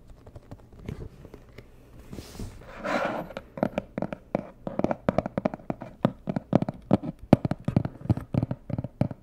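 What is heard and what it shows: A medium, hollow, rigid white and red cardboard box is tapped on its sides with long nails. After a few soft, sparse taps, a brief scratchy brushing sound comes in. It is followed by a quickening run of sharp, dry, low-pitched taps that die away almost instantly.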